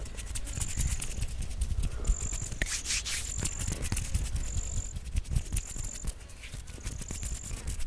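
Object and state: Foam microphone windscreen being scratched.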